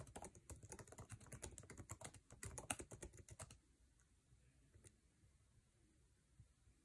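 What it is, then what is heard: Laptop keyboard being typed on. Fingertips of both hands type fast on the backlit, low-profile scissor-switch keyboard with plastic keycaps of an aluminum MacBook Air resting on a table. A dense run of short, clicky taps with a soft low thud lasts about three and a half seconds, then stops, leaving near-quiet broken only by two faint isolated taps.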